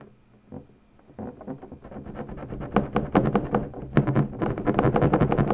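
Long natural nail tips press into and tap the taut surface of an inflated, air-filled purple latex balloon. It starts almost silent, then quick, uneven taps and scratchy pattering build steadily in loudness, with bright, sharp clicks over a hollow, low thump.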